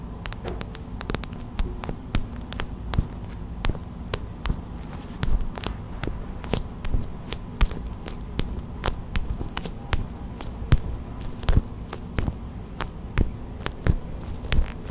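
Long white acrylic nails and fingertips tap on a small clear plastic pouch filled with white gel beads, a hot/cold pack. Quick, short, dry clicks land in an irregular rhythm, with bright tick tops and little ring. A steady low hum runs underneath throughout.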